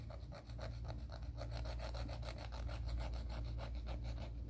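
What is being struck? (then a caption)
Emery board nail file. A grey emery board nail file is drawn rapidly back and forth as continuous rasping nail-filing strokes against its grit. Each quick stroke gives a bright, scratchy burst over a steady low hum, and the strokes run together into a brisk, even rasp with no pauses.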